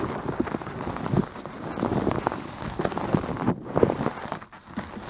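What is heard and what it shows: Long nails scratch the surface of a white, fist-sized terry cloth towel wrapped around a microphone head, padded over the solid mic. The result is a steady, muffled rustling and scratching, dull and low in tone with almost no brightness, broken by short irregular strokes.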